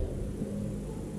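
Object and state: Nothing is struck.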